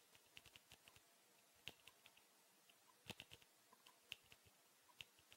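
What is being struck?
Small hollow plastic tube case.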